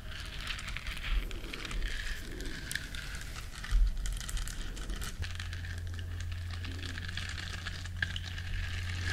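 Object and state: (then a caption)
Silicone bristle scrubber scratched with nails. Long nails scratch the bristles of a small, flat, solid yellow silicone scrubber shaped like a duck, making a soft, continuous crinkly scratching with bright rasp on top. A few louder scrapes stand out near the start, and a steady low hum sits underneath, growing fuller in the second half.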